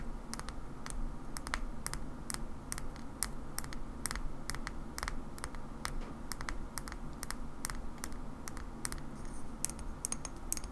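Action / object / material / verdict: tap / small glass bottle with screw cap / glass / none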